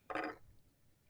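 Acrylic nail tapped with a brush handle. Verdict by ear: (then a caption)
Dry. A brush is tapped once against a cured acrylic nail to check whether it is dry. The result is a single short, dry tap in the mids with almost no ring. The sound shows the acrylic has hardened and is ready to file.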